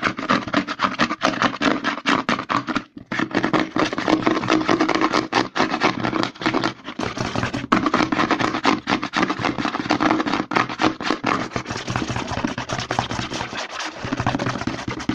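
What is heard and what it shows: Fingertips rapidly scratch and tap the label of a white plastic CeraVe lotion pump bottle held upside down. The result is a dense, continuous stream of dry, crackling scratches and quick plastic taps, with a mid-range body around 300 Hz, briefly pausing near 3 seconds and thinning out around 13.5 seconds.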